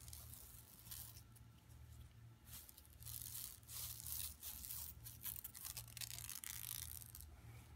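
Long nails scratch across an empty, flat yellow woven plastic mesh tote bag lying on carpet. The result is a bright, dry rasping in uneven bursts over a steady low hum.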